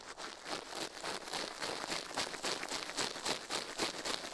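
A toothbrush rapidly brushes the left silicone ear of a binaural microphone resting on a steel plate, while the other gloved hand rests still on the right side. The result is a steady, fairly regular run of bright, scratchy bristle strokes, about a dozen in quick succession, with almost no low end and only brief ring after each stroke.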